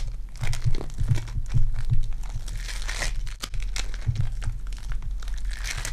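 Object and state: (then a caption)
Foam bead clay. Purple foam-bead clay is kneaded and pulled between fingers with long dark nails, giving a steady stream of close, sticky crinkling and crunching. Soft low thumps and squelches sit under scattered bright crackles as the beads shift and pop.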